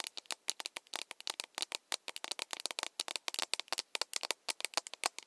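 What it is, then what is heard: Plastic mug tapped with nails. An empty, hollow plastic mug with a handle is held in both hands while its body is tapped with long nails. About 34 quick, sharp, bright clicks come in an irregular rapid patter, each dying away almost instantly with no low-end body.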